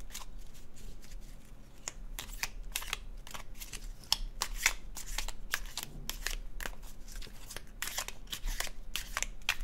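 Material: Cardstock.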